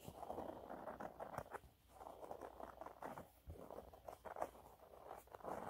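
Fingernails scratch quickly and lightly across a yellow waffle-textured cleaning cloth held upright, giving a soft, quiet pattering. The dense, dry scratches sit mostly in the low-mid to mid range around 700 Hz, with brief pauses between bursts.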